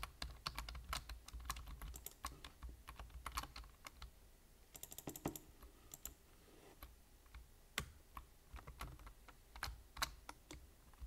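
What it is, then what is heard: Plastic computer keyboard being typed on. The fingertips of one hand tap quickly on a black plastic computer keyboard with hollow keys, producing a steady run of short, bright, clicky keystrokes. The clicks die out almost instantly over a low, constant hum. The typing thins out to softer taps through the middle before picking up again.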